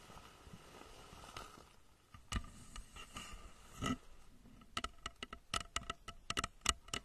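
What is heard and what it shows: Long nails quickly tap the sides of a hollow plastic rocket-shaped lamp cover, about 30 cm tall, held in both hands and fitted over the microphone under blue light. Faint rustling and a few scattered taps give way to a rapid run of sharp, dry clicks in the second half, with a hollow ring around 2.9 kHz and bright high ticks that die away almost instantly.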